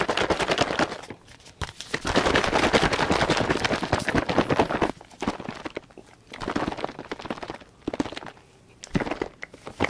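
A large light-blue plastic soap bottle, hollow and partly filled with liquid, is held in both hands and shaken and tilted close to the microphone. Rapid, dense sloshing and crackling bursts fill the clip, with a long continuous stretch in the middle and shorter bursts separated by brief quiet gaps toward the end.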